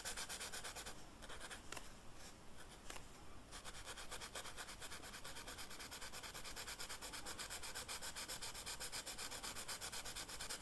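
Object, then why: Felt-tip marker on velvet-flocked paper sheet. The felt tip of a dark red marker rubs across a flat black velvet-flocked paper sheet in coloring strokes. It makes a soft, steady, brushy scratching with a bright, hissy texture. Quick back-and-forth strokes repeat unevenly throughout, with a few denser scratchy patches early on.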